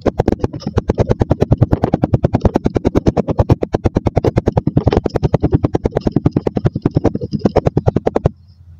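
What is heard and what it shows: A wooden dowel repeatedly presses and knocks down onto layered purple and beige kinetic sand packed into a mostly full clear glass tumbler, compacting it. About 66 quick, dull, low thuds follow one another at a fast, slightly uneven pace, each with a soft crunchy edge and almost no ring. The tapping stops just before the end, leaving a faint low hum.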